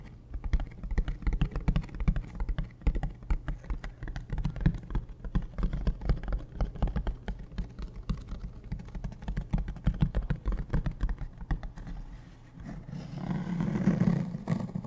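Fingertips and nails tap rapidly on the shell of a large, hollow, beige hard-shell plastic suitcase standing upright. The taps sound like short, dry, hollow thumps, with almost all of their energy in the low range and a little higher clicking. The tapping runs steadily throughout and swells into a louder, denser stretch near the end.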